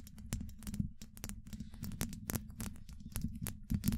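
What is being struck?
Steel mesh microphone grille.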